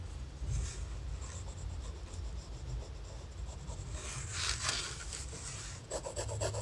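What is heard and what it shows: A graphite pencil held in the fingers sketches a head on thin lined notebook paper resting on a laptop. Soft, steady scratching and rubbing strokes run over a low, constant rumble, with a brighter burst of scraping midway. Quick, short strokes come near the end.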